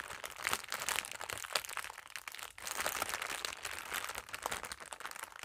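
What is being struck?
Thin clear plastic bag.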